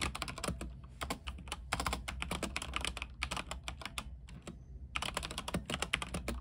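Fingertips type continuously on a mechanical keyboard with white plastic keycaps, a silver frame and a backlight. The result is a rapid stream of short, bright, clicky keystrokes over a low thocky base, with brief lulls around the middle before the typing picks back up.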